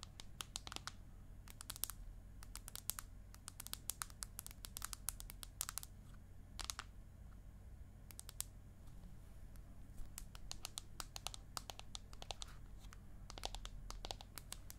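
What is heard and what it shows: Long acrylic nails tap and scratch quickly on the aluminium back of an iPad mini held in both hands. Dense bursts of sharp, bright clicks with almost no ring sit over a steady low hum, with a brief lull in the middle before the fast tapping resumes.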